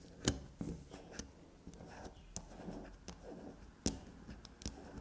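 Long nails scratch and scrape grooves into the face of a small, solid black soap bar held upright on a table. Soft, close-up scraping and digging sounds are broken by sharp, bright clicks and taps as the nails strike and dig into the bar.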